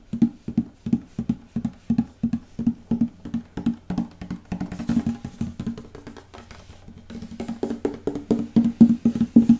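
Fingertips and nails tap and drum on the back panel of a hollow wooden acoustic guitar with a reddish-brown mahogany back, resting on the player's lap. Quick, dry, hollow knocks with a woody resonance around 230 Hz come in a steady patter, blur into a faster, softer flurry midway, and end with louder, sharper taps.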